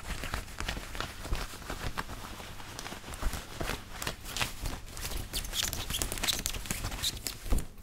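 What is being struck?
Woven cotton button-up shirt.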